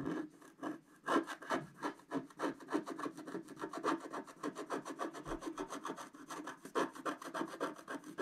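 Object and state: Scratch art paper being scraped.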